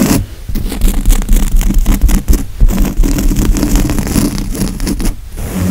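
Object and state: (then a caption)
Woven fabric couch cushion being scratched. Fingernails on both hands scratch the padded grey woven fabric of a couch cushion. The result is a dense, continuous run of rapid, rough scraping strokes with a heavy low rumble beneath them. Brief dips in loudness fall between the bursts.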